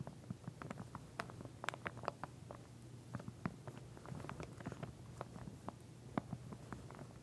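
Long nails of both hands tap and scratch along the teeth of a pink plastic wide-tooth comb lying flat in a clear plastic sleeve. The result is a quiet, irregular patter of short, dry clicks and crinkly scratches over a steady low hum, each click ending almost instantly.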